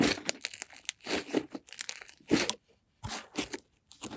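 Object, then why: Soft butter slime squeezed by hand. A blob of cream-white butter slime is lifted, folded and squeezed in both hands with long nails. It gives off soft, sticky crackling and tearing bursts with bright high hiss, broken by short silences.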